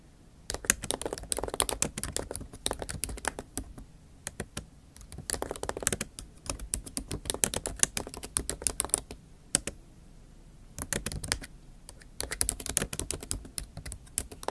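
Long acrylic nail tips type on the plastic keys of a MacBook Pro keyboard set in an aluminium body. Bursts of quick, sharp, bright clicks come in several runs separated by short pauses. Each tap dies away almost at once.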